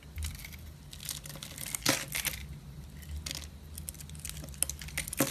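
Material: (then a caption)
Soap. A solid rectangular pink striped DURU soap bar, held in the hand, is scraped and carved with a metal box-cutter blade, shaving off flakes and ribbons. The result is dense, dry crackling and crunchy scraping with bright, sharp snaps, loudest near the start, middle and end, over a faint steady low hum.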